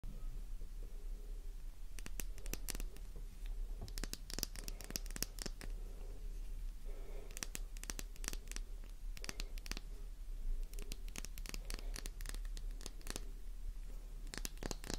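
A small, fresh, dry pink flower-shaped Faberlic bar soap is held in the palm and scratched and tapped with long painted nails. Fast, sharp clicks and crisp scratching come in bursts over a steady low hum.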